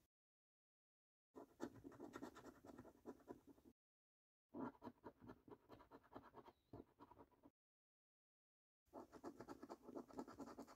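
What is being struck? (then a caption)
Paper scratch card with latex coating. A coin scratches the latex coating off a thin, flat £15 Snack Stack paper scratch card lying on a table. Three bursts of dry, rasping scratching are separated by silent pauses, each made of rapid strokes centred low-mid around 300 Hz with quieter bright edges.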